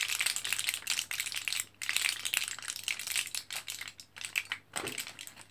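An orange plastic and foil blister card of capsules, foil side up, is held in both hands while fingertips press on it and the capsules rattle inside. The result is a dense run of quick, bright crinkles, clicks and rattles, almost entirely high-pitched with very little low end, pausing briefly between bursts.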